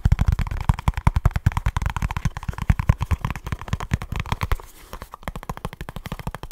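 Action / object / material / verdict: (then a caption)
tap / small cardboard box / cardboard / none. Fingertips and short nails tap and scratch rapidly on a small kraft cardboard product box. The result is a fast, dense run of dull, thumping taps, with the body of the sound low and only faint scratchy brightness on top. Just past the midpoint the low thump drops away and the taps turn lighter and thinner before picking up again.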